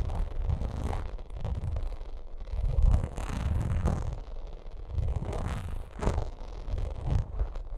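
Long nails scratch and tap across a bumpy vinyl makeup bag, making rough, low, rumbling scrapes. Brief bright clicks and taps break through the rumble in uneven bursts.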